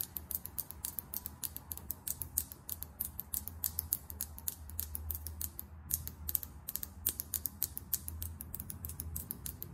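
Long acrylic nails tap fast on a small, filled lip gloss tube with a chrome metallic cap, held in the hand. A dense run of sharp, bright clicks with very short ring carries over a steady low hum.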